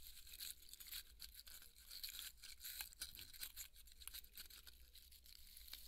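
Fingernails scratch along the surface and cut seam of a large white polystyrene foam ball held in both hands, crumbling the foam. The result is a dense, bright, dry scratching and crackling with sharp squeaky bursts. A steady low hum runs underneath.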